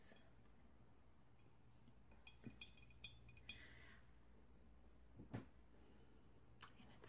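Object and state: Hollow ceramic oil burner.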